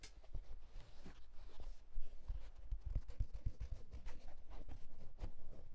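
A wool tweed fedora hat is handled and tilted while fingertips scratch across its fabric crown and brim. The result is soft, close, dry scratching with quick muffled low thumps from handling, all at a quiet level.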